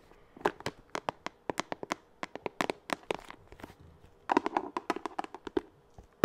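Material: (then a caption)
Plastic. Long acrylic nails tap on a hollow, blue translucent hard-plastic pencil case held in the hands. The result is a series of sharp, dry clicks with almost no ring, which speed up into a quick flurry partway through before a final tap.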